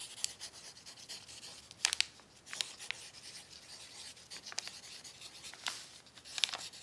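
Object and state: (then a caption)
Pencil writing on crinkled paper. An orange wooden pencil tip writes across a crumpled brown paper sheet resting on a plaid tablecloth, held flat by a hand with long nails. Quiet, bright, steady scratching and rubbing runs throughout, broken by sharper crinkly clicks of the paper.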